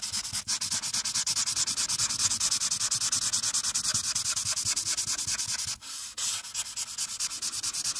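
A marker tip is rubbed back and forth across a flat paper coloring page, coloring the background near a character's hair. Rapid, steady scratchy strokes make a bright, hissy rubbing sound. There is a brief lighter pause near the six-second mark before the strokes resume.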